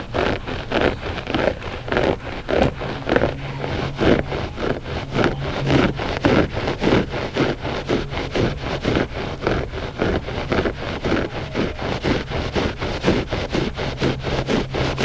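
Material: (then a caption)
Textile. Short fingernails on both hands scratch the pile of a flat, gray, loop-pile textile rug that is solid and soft. The result is a steady stream of quick, dry, raspy strokes, nearly two per second in a loose rhythm, with a muffled, soft texture and little brightness. A faint low hum runs underneath.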